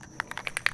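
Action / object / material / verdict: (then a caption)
shake / aerosol spray can with metal mixing ball / metal / none. An aerosol spray can of Plasti Dip rubber coating is shaken before being sprayed onto EVA foam, so the mixing ball inside rattles. Six sharp, bright clicks of the ball striking the can are heard in quick succession against a quiet background.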